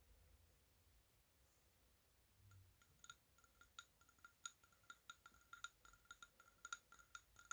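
A medium round glass candle jar, filled with solid orange wax and with three wicks lit, is held in both hands while fingertips and nails tap around its glass sides. After a few quiet seconds, about 20 light, quick taps follow in an uneven rhythm. Each gives a short, bright glassy clink that dies away almost at once.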